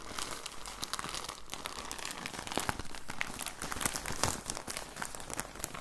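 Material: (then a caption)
Plastic. Fingertips squeeze and crinkle a clear plastic bag with orange print, full of soft cotton balls. A steady stream of close, crisp crackles and rustles runs throughout, with brighter sharp snaps standing out near the middle and toward the end.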